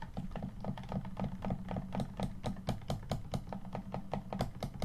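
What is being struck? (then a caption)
Plastic game controller. Fingertips tap and press rapidly on the top and bumper area of a hollow black plastic Xbox One controller. The result is a steady stream of short, dry plastic clicks with a low hollow body and little ring.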